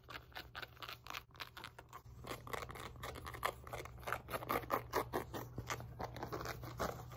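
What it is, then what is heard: Fabric resistance band scratched. Long painted nails and fingertips scratch and rub a wide black and pink woven elastic fabric loop glute resistance band resting on a lap. Quick, irregular scratchy strokes and rasps sound in a dry midrange over a steady low hum.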